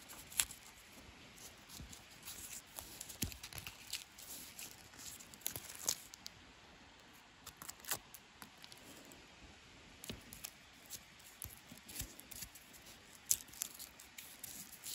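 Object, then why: Wooden walking stick with bark. Fingernails scratch and pick at the knots and patchy bark of a solid natural wooden branch used as a walking stick. The result is a quiet stream of dry, crackly, high-pitched scrapes and sharp little clicks.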